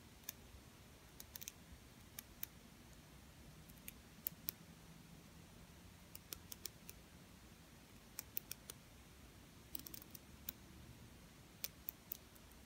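A small purple plastic tiara-shaped ornament studded with rhinestones, hanging from a pink ribbon, is held in the hand and tapped and scratched with long purple-painted nails. Sharp, bright clicks and ticks come in scattered bursts over a low, steady background hiss.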